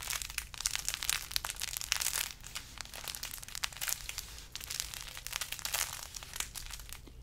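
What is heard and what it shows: A large carrot-shaped decoration wrapped in burlap with a green top is squeezed and scratched with fingers. The result is a dense, bright, crinkly rustling and scratching with rapid short crackles, over a faint steady low hum.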